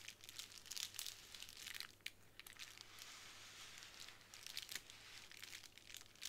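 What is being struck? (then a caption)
Plastic bubble wrap sheet. Long nails tap and scratch across a small square of clear plastic bubble wrap resting on a wooden table. The result is a quiet run of bright, crinkly ticks and rustling scrapes, with a faint steady low hum underneath.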